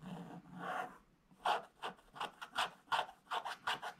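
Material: Waxed paper.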